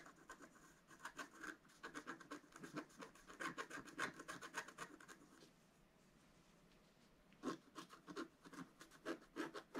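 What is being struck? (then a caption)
Scratch art card, wax-coated paper, scratched with a wooden stylus. A pointed wooden stylus scratches and hatches the black coating of a flat, solid scratch art card (coloured foil paper underneath, about A4) lying on a table. Quick, dry, rasping strokes come in rapid bursts with a bright, papery edge, then stop for a quiet pause of about a second and a half. A few sharper, separate scratches follow.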